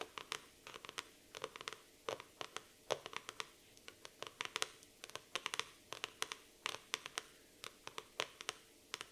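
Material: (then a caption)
Laminated cardboard. Long nails tap and scratch the laminated cardboard cover of a black floral hardcover notebook. The result is a quiet, irregular stream of sharp, bright clicks and short scratchy strokes, each dying away almost at once, with hardly any low end.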